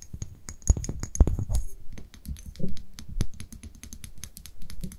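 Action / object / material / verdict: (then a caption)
tap / small brown glass dropper bottle / glass / none. Long nails tap and scratch a small amber-brown glass dropper bottle held in the hands. The result is a quick, irregular run of dry, sharp clicks and ticks that die away almost instantly, with faint scraping between the taps.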